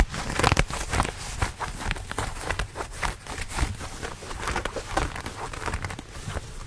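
Blue denim jeans are held close to the microphone while the thick cotton fabric is scratched with fingernails and rubbed between the fingers. A steady run of short, dry scratching strokes and soft rustling follows, with a low, close-up rumble under bright, raspy fabric texture.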